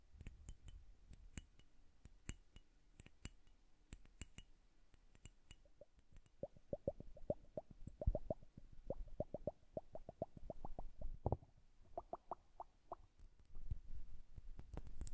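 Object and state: Glass bubble hourglass.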